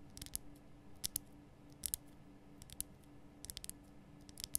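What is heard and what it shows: Long painted nails tap quickly on a large, rough, glowing pink Himalayan rock salt lamp, a solid salt block lit from inside and held in both hands. About fourteen sharp, bright clicks come in small irregular clusters and stop instantly with no ring. A faint, steady low hum sits underneath the quiet tapping.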